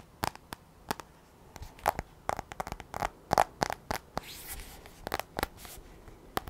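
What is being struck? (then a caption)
Tablet glass touchscreen. Long nails tap and scratch the surface of a black glass iPad touchscreen held in both hands. An irregular series of sharp, dry, bright clicks lands quickly with almost no ring, and a softer hissing scratch passes over the glass midway through.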